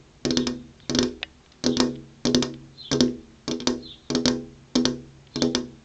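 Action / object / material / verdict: tap / flat glass window pane / glass / none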